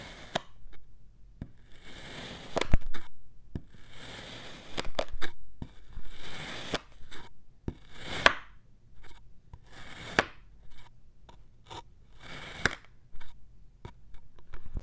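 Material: Kinetic sand.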